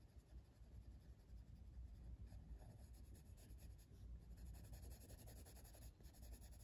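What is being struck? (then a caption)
Paper coloring book page rubbed with a colored pencil. A blue colored pencil tip rubs a flat paper coloring book page near the flower outlines in continuous shading strokes. The result is a quiet, steady, soft scratching with faint bright strokes over a low rumble, without distinct separate hits.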